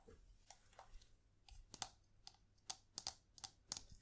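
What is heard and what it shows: Long nails tap a small, hollow plastic correction tape dispenser with a printed pattern, held in the hands. Twelve sharp, bright clicks with a faint hollow knock are heard in an irregular rhythm, each dying away almost instantly over a quiet background.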